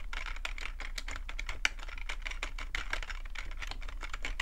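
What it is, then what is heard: Plastic computer keyboard. Both hands type with their fingertips on a black full-size plastic computer keyboard, producing a fast, steady stream of short, dry plastic key clicks with a bright edge around 2.3 kHz. One noticeably louder click stands out partway through, over a low background rumble.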